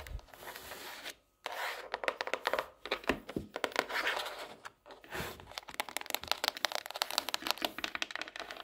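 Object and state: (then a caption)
Hardcover notebook tapped with nails. A pink hardcover notebook is lifted and tilted in the hand while long nails tap the underside and edges of its cardboard cover. Quick, dry, crisp taps come in rapid, uneven bursts, with brief silent pauses around 1.2 and 4.8 seconds. Each tap sounds bright and papery and dies away almost instantly.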